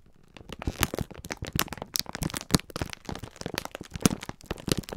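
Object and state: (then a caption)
Plastic-wrapped pack of sponge scourers. A full pack of sponge scourers in clear plastic film is squeezed and rubbed with both hands. The result is a dense run of sharp crinkling and crackling, with short bright snaps over a soft low rustle, each burst dying away almost at once.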